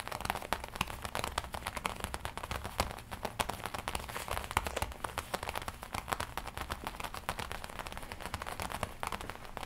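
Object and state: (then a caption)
Leather jacket tapped and scratched. Long nails and fingertips tap and scratch the black leather chest panel of a worn black and red leather biker jacket with a studded collar, a soft, hollow garment. A dense, steady stream of quick, dry taps mixes with crinkly scratching and faint low rumble, each tap dying almost at once.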